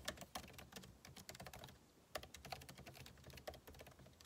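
Fingertips type rapidly on a backlit MacBook Pro keyboard with plastic keycaps set in an aluminum body. A fast stream of light, crisp clicks and soft taps follows, each tick bright and short with a faint low thump underneath. A few sharper keystrokes stand out from the steady patter.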